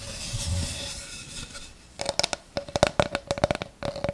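A flat light-wood oval tray with a white rim and handle holes is moved close to the mic and rubbed and scratched with long red nails. A soft, low shuffling rub for the first two seconds gives way to a quick run of sharp, bright scratching clicks, each carrying a short hollow ring around 590 Hz.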